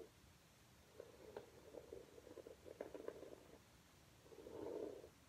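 A plastic hairbrush, held bristles-down by a hand with blue nails, is brushed back and forth over a flat red low-pile fabric rug. Quiet, muffled scratchy rubbing strokes centered in the low-mid range carry a few sharper scrapes, then a louder, fuller swell of rubbing near the end before it fades.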